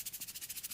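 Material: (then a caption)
Plastic. A plastic Tassimo T-disc coffee pod is shaken by hand, giving a quick, even run of soft, bright, hissy rattles. The rattling shows the pod holds loose coffee granules.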